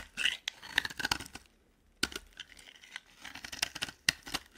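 A flat metal blade scrapes and shaves curls off the edge of a hand-sized, solid, cream-coloured bar of dry soap held in one hand, with the pile of shavings left on the table. Crisp, bright, crackly scraping bursts come in quick runs, with a brief quiet gap partway through before the shaving resumes.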